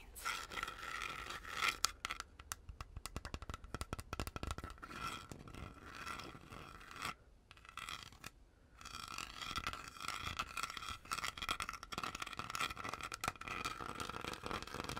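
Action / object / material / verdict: scrape / plastic hand mirror back / plastic / none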